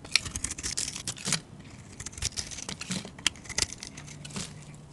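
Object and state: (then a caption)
Soap bar being scraped with a blade. A plain, solid, hand-sized white soap bar held in the hand is scored and then shaved or scraped with a metal utility-knife blade, peeling off thin soap curls. Bright, dry scraping and crisp crinkly tearing strokes come in quick bursts, with a few sharper clicks among them.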